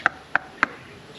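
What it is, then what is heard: Coconut tapped on top. A coconut is tapped on the top three times to tell a young buko coconut from an older niyog coconut. Each tap is a short, dry knock with a pitch around 1.5 kHz that dies away almost at once.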